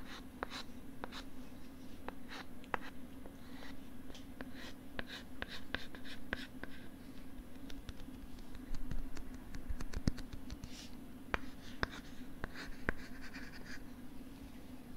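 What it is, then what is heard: Plastic LCD writing tablet. A thin stylus scratches and writes on a pink plastic LCD writing tablet held close to the mic. Soft, scratchy strokes mix with many short, sharp clicks and brief bright rasps, all over a steady low hum. The sound stays quiet and close throughout.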